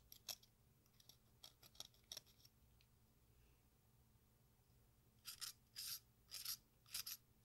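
A solid piece of watermelon-shaped sidewalk chalk, held in hand, is shaved with an exacto knife blade scraping along its red face and green rind edge, dropping fine dust into a pink bowl. Quiet, dry, bright scraping strokes come in short bursts, scattered early on, then a near-silent pause, then a tighter run of longer, louder scrapes toward the end.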